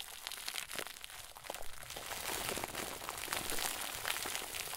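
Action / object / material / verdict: scrape / plastic bag stuffed into a ball / plastic film / none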